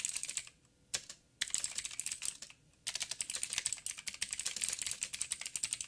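Fingertips of both hands type on a backlit 87-key mechanical keyboard with plastic keycaps and clicky blue switches. Bright, sharp clicks come in quick bursts, with brief pauses near one and two and a half seconds before a dense run of keystrokes to the end.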